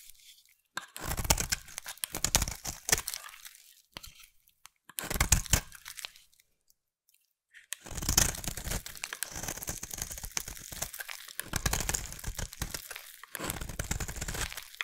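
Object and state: Bar soap being scraped.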